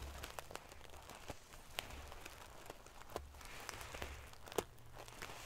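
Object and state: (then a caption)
Metal sequin-covered pillow. Fingernails scratch and ruffle the silver metal paillettes (sequins) covering a pillow. It makes a quiet, continuous crinkly rustle dotted with sharp, bright ticks and clicks that stop dead with no ring, over a faint intermittent low rumble.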